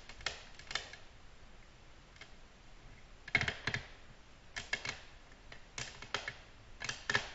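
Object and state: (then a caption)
Glass tabletop tapped with nails. Long natural nails tap a flat, solid, glossy black glass tabletop in gentle, irregular bursts. Each tap is a short, bright click with a faint glassy tone near 2.2 kHz that dies away almost at once, leaving quiet pauses between the clusters.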